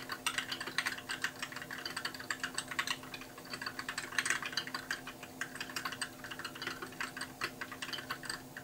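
Fingertips type steadily on a compact white mechanical keyboard with plastic keycaps. Quick, bright clicks and clacks arrive in a dense, irregular stream. Each keystroke is sharp and short over a faint, steady low hum.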